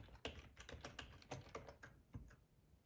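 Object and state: Plastic computer keyboard being typed on.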